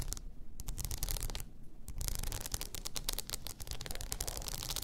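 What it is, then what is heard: Rhinestone-covered tumbler. Long nails scratch and rub a blue rhinestone-covered tumbler lying on its side, producing dense, crackly, bright scratching over a steady low rumble. The scratching comes in rapid clicky bursts, with two brief pauses where the high crackle drops away.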